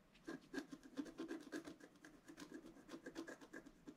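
A wooden stylus scratches the black coating near the right edge of a flat, solid scratch art card, about A4, with coloured foil paper beneath, lying on a table. A quiet, steady series of short, dry scratching strokes rasps back and forth, with a soft midrange body and a thin, bright edge.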